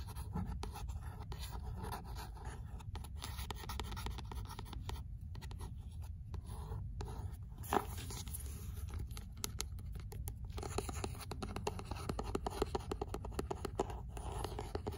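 Long nails tap and scratch the card-paper cover and spine of an old paperback copy of 'L'imaginaire'. The result is a steady, quiet stream of dry, soft ticks and papery scratches with little ring, weighted toward a low hum underneath, and one sharper tap standing out near the middle.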